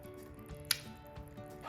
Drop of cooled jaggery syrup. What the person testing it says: you can hear it when you drop it on the surface